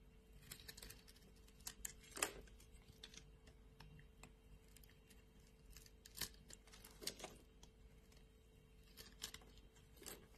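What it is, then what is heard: Bar of soap being shaved. A metal blade shaves thin slices off a solid light blue bar of soap, making quiet, crisp, bright scraping crackles in short, irregular bursts. The louder cuts come around the 2, 6, 7 and 10 second marks, over a faint steady low hum.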